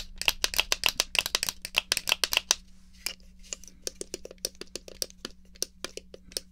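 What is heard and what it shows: A small hollow black plastic Atari joystick is held in the hand while long nails tap and scratch its base and the fire button is pressed. A rapid run of sharp, bright plastic clicks and taps is loud and dense for the first two and a half seconds, then continues more softly and sparsely. A faint steady low hum sits underneath.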